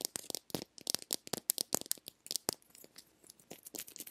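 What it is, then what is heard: Plastic lip balm egg. Long nails tap and scratch the curved surface of a small, hollow, pink plastic egg-shaped lip balm container. The result is a quick run of dry, bright clicks that stop dead with no ring, followed by softer, scratchier ticks toward the end.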